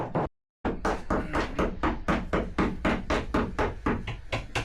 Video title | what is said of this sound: Survey day unveils sad truth - BOAT DAMAGE DISASTER Part 5 | the surveyor was tapping different areas listening for the dull Hollow sound that means delamination places where layers didn't bond or where glue failed